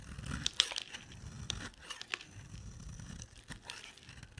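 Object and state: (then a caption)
Dry bar soap being shaved. A box-cutter blade shaves a solid oval bar of dry white soap held in the hand, scraping and carving off white curls that pile up beside it. The scraping sounds bright and crisp, with soft crumbly crackling and a few sharp clicks as the blade bites into the bar.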